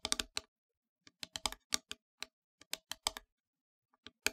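Long grey nails tap on the flat face of a solid, black-painted wooden heart plaque about 1 cm thick, lying on a fabric surface. The taps come as quick, dry, bright clicks in irregular clusters, each dying away almost instantly with very little low end, much like keyboard typing.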